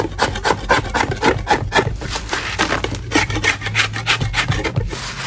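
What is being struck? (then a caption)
Chalk block scraped with a metal spatula. A metal spatula blade scrapes repeatedly across a large, solid lump of natural chalk, knocking off powdery crumbs. About two dozen quick, raspy, irregular strokes run together, each a dry gritty burst centered in the midrange and reaching bright, with a faint low hum beneath.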